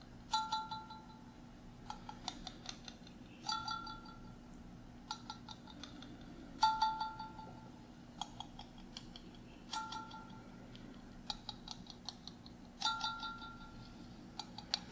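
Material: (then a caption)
Glass. Fingernails tap and scratch the metal screw lid rim and upper glass of a partly filled clear glass mason jar. Bursts of quick, light clicks come every second or two, each carrying a short glassy ring and bright overtones. A steady low hum runs underneath throughout.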